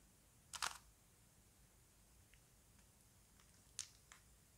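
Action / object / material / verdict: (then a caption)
tap / plastic puzzle cube / plastic / none. A small plastic Rubik's cube is held in both hands while fingers twist its layers. This produces four sharp, bright plastic clicks over quiet background hiss. The loudest, rattling burst comes first, followed by a faint click and then two crisp snaps near the end.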